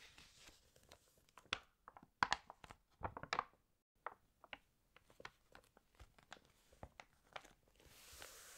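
Long painted nails flip the pages of an open glossy paper fashion magazine while fingertips rub the paper. The result is quiet, dry crinkles and sharp, bright paper snaps, with a dense cluster of louder crackles early on. Sparser page flicks follow, and the clip ends on a soft, steady hiss of rubbing.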